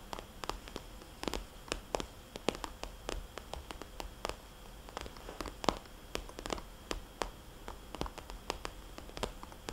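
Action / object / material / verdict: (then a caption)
tap / soft vinyl cosmetics bag / vinyl / none. Fingernails on both hands tap a small, glossy red polka-dot vinyl cosmetics bag, producing many quick, dry clicks with a soft, hollow tone. The taps come in an irregular patter over faint steady hiss, each cutting off almost instantly with no ring.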